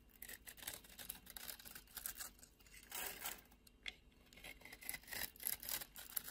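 A solid beige oval bar of soap, held in a palm with long red nails, is scored and carved into flakes with a utility knife blade. The quiet clip is a steady run of bright, crisp scraping and cutting strokes with soft crackling, and almost no low end.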